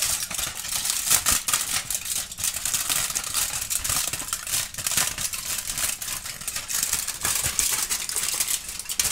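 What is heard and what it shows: A thin, crumpled aluminum foil sheet is held in both hands, crinkled and scrunched with the fingers and lifted up while a kitten watches without touching it. The result is a continuous, dense, bright crackling and rustling with sharp little snaps, almost no low end, and a steady moderate level throughout.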